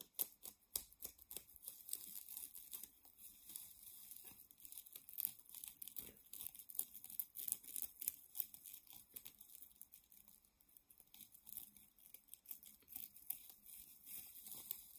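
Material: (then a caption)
Nylon mesh. Long painted nails scratch and squeeze a soft, palm-sized white nylon mesh shower puff. The result is a quiet, dense run of rapid, irregular crinkly scratches, bright and hissy with almost no low end.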